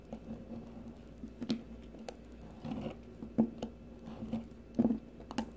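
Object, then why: Bar of soap shaved with a metal peeler blade. A solid, rounded green bar of soap held in the fingers is shaved with the metal blade of a blue peeler. Soft, irregular scraping strokes come through as short, crisp shaving sounds over a quiet background, with several louder scrapes standing out.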